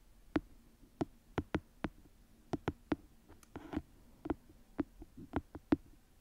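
Long manicured nails tap and scratch the top edge of the pages and the cover of a small paperback book held flat in one hand. About seventeen short, dry taps with a dull body near 300 Hz and a quick papery click arrive at an uneven pace. A brief rough scratch sounds midway through, all at a soft, close level with no ring after each tap.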